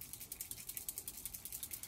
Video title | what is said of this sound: Sketch 10 #30DSCBL30 using Pumpkin Spice from Close to my Heart | you can hear the rollerball in there